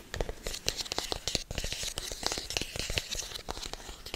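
Fingertips tap and scratch a hollow, hand-sized black rigid cardboard product box close to the microphone. The result is a rapid, uneven run of dry, short taps mixed with bright, crinkly scratching that sounds almost like tearing, with little ring after each hit.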